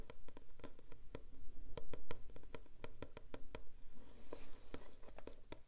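Fingertips and nails tap and scratch the front of a thick, closed paperback book, "Verhalen uit de Ambulance," with a glossy yellow printed card cover over a solid block of paper, held in both hands. Many quick, dull taps come in a steady stream, mixed with soft scratching across the glossy card.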